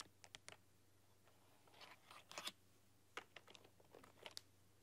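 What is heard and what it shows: Fingertips and long, dark-polished nails tap and type on a full-size black plastic keyboard with neon RGB backlit keys. Quiet, bright, clicky taps come in irregular clusters, each dying out almost instantly, with a steady low hum underneath.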